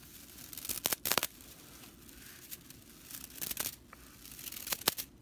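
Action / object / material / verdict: scrape / straw whisk broom bristles / straw / none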